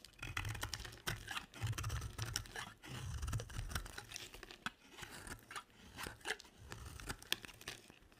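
A utility knife blade carves curls off a dry, solid pink and white soap bar. It makes crisp, crunchy scraping and tearing sounds with sharp bright clicks over a soft low rumble, and each stroke fades quickly with no ring.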